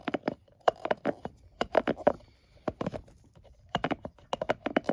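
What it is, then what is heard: Plastic and silicone scalp massager. A palm-sized scalp massager with a blue plastic base and soft silicone bristles is held in hand while fingertips and nails rub and tap the bristles. Quick, dry tapping and scratching sounds come in irregular bursts with brief pauses between them, each tap short with almost no ring.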